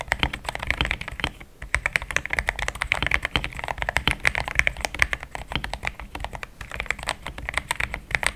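Fast typing with the fingertips of both hands on a compact pink-white mechanical keyboard with thick plastic XDA keycaps, a polycarbonate plate and linear switches, resting on a desk mat. A dense stream of short, bright clacks with no ring-out pauses briefly near the 1.5-second mark before the rapid key presses resume.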